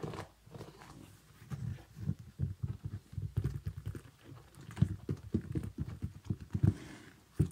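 Fingernails tap and scratch a small synthetic leather kids' boot with a zipper, moving across its sequin panel, toe and sole. The result is an irregular run of soft, dull, very short taps, mostly low in pitch with little brightness, mixed with faint scratching between them.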